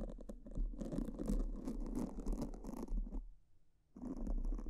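Pink silicone spoolies brush in strokes across black foam microphone windscreens, making a dense, soft scratching and rustling close to the mic. The strokes run continuously for about three seconds, fall nearly silent briefly, then resume just as strongly.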